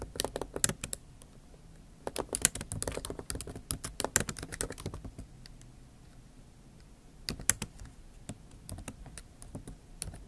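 Both hands type with long acrylic nail tips on a MacBook Pro keyboard with plastic keys set in an aluminium body. Quick, sharp, bright clicks and taps come in a dense burst for about five seconds, pause, then resume more sparsely. Each click stops almost instantly with no ring.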